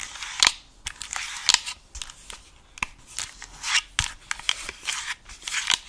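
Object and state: Plastic gaming headset earcup.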